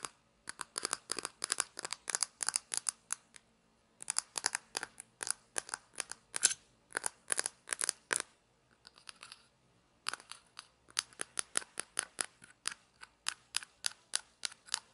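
A small hollow white plastic toy shaker bottle with a printed label, its cap off, is turned in the hands and scratched with long nails. Quick, dry, bright scratching strokes come in dense runs with short pauses between them, and a softer stretch midway. There is no low rumble, and each stroke dies away almost at once.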